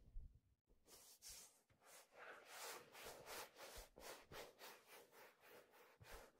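A hollow, empty black leather fedora is held by the brim and rubbed and handled with the hands. It gives a steady run of soft, breathy swishes that swell and fade about three times a second, each with a bright hiss over a faint low rumble.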